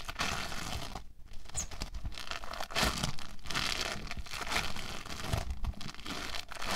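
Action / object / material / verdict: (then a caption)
scrape / foam bead clay / foam beads / none. An orange foam bead clay log is pressed flat with stacked hands, then squeezed and shaped into a ridge by fingertips. It gives a steady stream of dense, bright crackling and crinkling crunches, like fine tearing, over a low background rumble.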